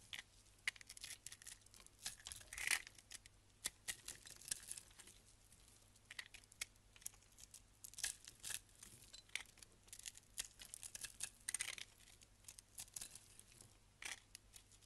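A solid crystal-coated soap block held in hand has its crunchy crystal layer scraped with a box-cutter blade. The result is a long run of quiet, bright, crackly scratches and crunches with sharp short bursts, over a faint low hum.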